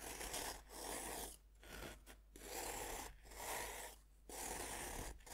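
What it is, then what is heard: Pressed-powder bath bomb being cut. A hand holds a solid pink compressed-powder bath bomb on a wooden board while a serrated metal knife scrapes and saws into its surface. A series of gritty, raspy scraping strokes comes through, each a broadband hiss with bright, crumbly texture, separated by brief quieter pauses.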